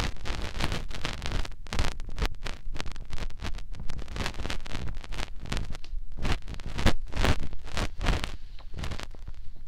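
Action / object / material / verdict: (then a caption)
scrape / silicone ear of a binaural microphone / silicone / none. A fingertip rubs inside the ear canal of the other silicone ear of a binaural microphone. The result is a dense series of close, muffled rubbing and scratching bursts. The sound is heavy in the low end and carries brief bright edges, with no talking.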